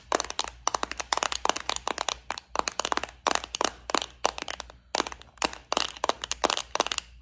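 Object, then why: Plastic compartment case with metal studs. Long nails tap and scratch a small, flower-shaped clear plastic bead organizer filled with gold studs. Rapid bursts of sharp, bright plastic clicks and scratchy crackles come in quick clusters with tiny pauses between them. Each click dies away almost instantly over a faint, steady low hum.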